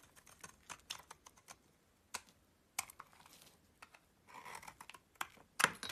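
A utility knife blade scrapes curls and flakes off a solid yellow bar of soap held in the palm. A series of short, crisp, dry scraping ticks comes at uneven intervals, with a brighter rasping stretch near the end. The sound is quiet, bright and sharp, with almost no low end and very little ring.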